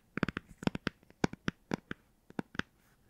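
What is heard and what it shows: A hardcover children's book with a cardboard cover, possibly a Star Wars book, is tapped in a quick, uneven series of sharp, dry knocks. Each tap has a low body near 200 Hz and a bright click, and dies away almost at once.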